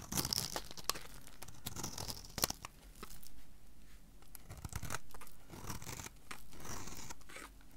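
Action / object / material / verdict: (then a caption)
scrape / bar of soap cut with a small knife / soap / none. A small metal knife cuts a solid, hand-sized teal-blue soap bar held in the hand into small cubes, its blade scraping and slicing through the soap. Crisp, crunchy cuts and sharp bright clicks come at an irregular pace, between longer soft scraping swells.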